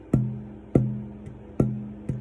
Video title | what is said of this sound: Top tonewoods and getting started | that sort of musical high-pitched ring coming off of it and i can hear two or three other overtones over the fundamental